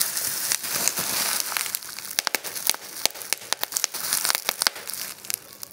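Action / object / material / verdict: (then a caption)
scrape / plastic bubble wrap / plastic / none. Clear plastic bubble wrap is gathered between both hands while fingers and thumbs pinch, squeeze and pop the bubbles and crumple the sheet. A bright, high crinkling hiss runs throughout, broken by many sharp, dry pops that stop instantly with no ring.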